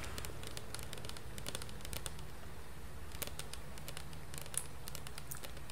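Long painted nails tap and scratch the printed label and sides of a medium-sized, hollow Salon Line SOS Cachos plastic shampoo bottle that is probably partly full. Quiet, rapid, bright clicks and scratchy ticks patter over a steady low hum, with a couple of slightly sharper taps standing out.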